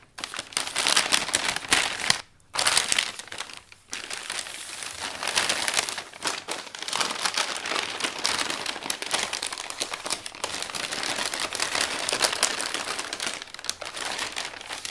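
Large sheets of thin, crinkled brown kraft packing paper folded over a flat item on a wooden table are smoothed and rubbed flat with a bare hand's fingertips and palm, then the edge is folded over. The result is dense, bright, continuous crinkling and crackling with almost no low end. Two brief silences come early, near 2.3 and 3.8 seconds.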